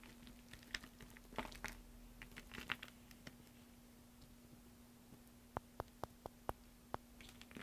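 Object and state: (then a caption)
Pile of soap shavings being crumbled. Fingers rake, press and crumble a loose heap of thin green soap flakes on a dark surface, making soft crinkly rustles and crunches over a steady low hum. After a quieter pause, six sharp, crisp crackles snap out one after another near the end.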